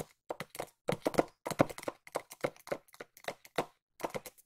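A small, hollow white cardboard box is tapped with long nails close to the microphone. Clusters of quick, dry, hollow taps with a midrange tone alternate with short pauses, each tap dying away almost instantly.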